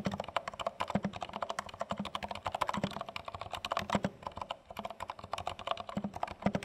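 Both hands type rapidly on a compact dark plastic HHKB Studio mechanical keyboard with plastic keycaps and a pointing stick, resting on a dark surface. A dense, steady stream of short, crisp clacks with a low thock under each press runs throughout, with no pauses longer than a moment.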